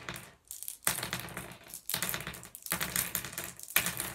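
Fingers pick up, sift and drop small solid blue glass gems on a wooden table. Rapid, bright clicking and rattling comes in several bursts, with short quiet gaps between handfuls, and each click dies away almost at once.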